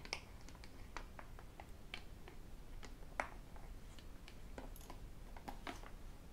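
A hollow, medium-size white and black plastic sports bottle is held upright and tapped with fingertips and metal rings. Quick, irregular clicks and ticks sound out, some bright and sharp, each dying away almost instantly. The taps stay quiet over a steady low background hiss.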